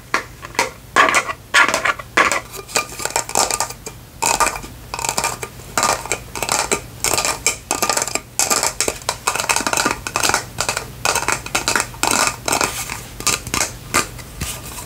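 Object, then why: Faceted plastic lantern jar. A faceted clear plastic lantern jar with lights inside is held in both hands and tapped with long nails. Quick runs of bright, clicky taps die away almost at once, with brief pauses between bursts over a faint low hum.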